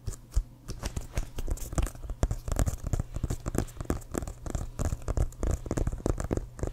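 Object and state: Leather American football (fingernail tapping).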